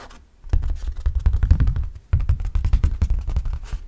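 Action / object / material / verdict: scrape / hard plastic flying disc / plastic / none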